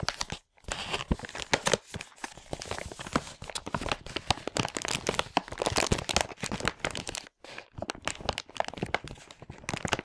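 A large printed plastic LEGO packaging bag from a Hero Factory 44022 set, full of loose parts, is squeezed and crinkled between fingers and thumbs. It makes dense, bright crinkling and crackling with sharp, tearing-like bursts, broken by brief silent gaps near the start and about two-thirds through.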